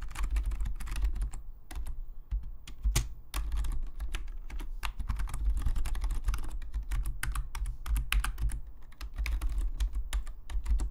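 Fingertips of both hands type on a full-size black Logitech membrane keyboard with plastic keycaps, lying flat on a desk. Quick, soft, short-lived keystroke clicks and taps run steadily over a constant low hum.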